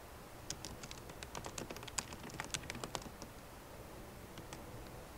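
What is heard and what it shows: Typing taps on a 13-inch MacBook Pro keyboard, with black plastic keycaps in a silver aluminum body, resting on a wooden desk and typed with long nails and fingertips. About 21 short, bright clicks with almost no ring come in an irregular burst, busiest in the middle second, then thin out into a few lighter taps over a low steady hiss.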